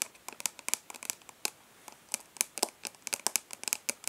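Long nails tap and scratch the embossed lid of a hollow plastic makeup palette held in both hands. About twenty quick, uneven, bright clicks mix with light scratching, each dying out almost at once with no low end. The result is a crisp, crackly patter.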